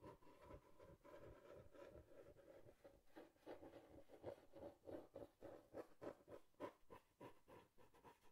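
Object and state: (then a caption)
Cardboard box. Long nails scratch and tap the flat side of a small, hollow brown cardboard box held close to the mic. The quiet, irregular mix of dry scratching and papery, mid-pitched hollow taps comes in quick, unevenly spaced bursts with very short decay.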